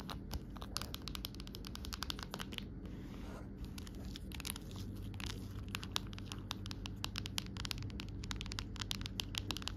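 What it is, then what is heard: Clear plastic phone case. An empty amber-tinted clear plastic phone case lying on a rug is tapped with long nail tips on its back and rim. A rapid, steady stream of sharp, dry, bright clicks with very short decay sits over a low, steady background rumble, staying quiet and even throughout.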